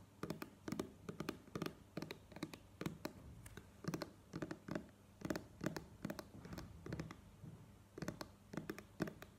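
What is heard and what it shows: Long nails tap and scratch a plastic cream squeeze tube held at an angle. Quick clusters of short, dry plastic clicks are heard, each dying away almost at once, with soft scratching between them. The sound stays quiet throughout, with a low hollow body under bright clicky edges.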